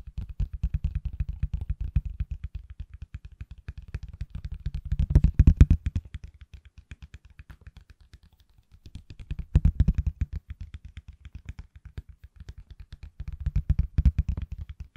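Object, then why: Silicone case on a phone. A hand-sized, solid pale green silicone/plastic case on an iPhone, held upright, is tapped quickly with fingertips and nails. The result is a rapid, steady patter of short, dull, low taps with almost no ring. It swells louder around 5–6, 10 and 14 seconds, with a brief lull near 8.5 seconds.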